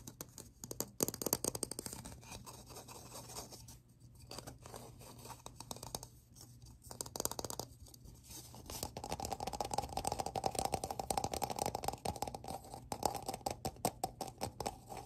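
Fingertips and nails scratch and tap the edge and outer wall of a hollow black plastic round ridged lid held in both hands. Dense, rapid scratchy rasps and dry clicking taps run throughout, over a faint steady low hum. In the second half the tapping turns brighter and more resonant, with a hollow ring near 800 Hz.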